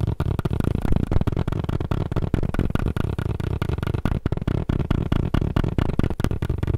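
Fast tapping on a tablet case makes a quick, uneven stream of dull, low-pitched taps, about four per second, each dying away almost instantly with little high-frequency content.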